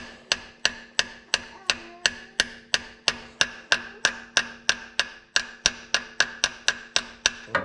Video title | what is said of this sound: shift shaft seal replacement TH350 | sounds like it's all the way home. Yeah, the noise sort of changed.